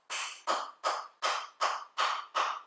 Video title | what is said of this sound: #7 Ferguson TED20 - Restoring Distributor Part 2 | you can hear that solid sound, so that's now in